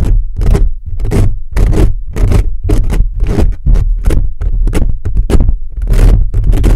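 Fingertips rapidly scratch and rub a hollow black metal mesh microphone grille, producing a quick run of rough, rasping strokes. Each stroke adds a heavy, boomy low rumble, with scratchy bursts reaching up into a bright hiss.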